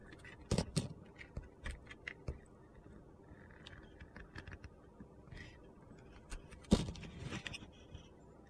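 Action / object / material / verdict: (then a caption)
scrape / solid soap bar scraped with a knife blade / soap / none. A utility knife scrapes and shaves the surface of an orange and pink glitter bar soap turned on its side. Soft gritty scrapes and crunchy clicks recur throughout, the loudest near the start and again around 6.7 seconds, over a low steady hum.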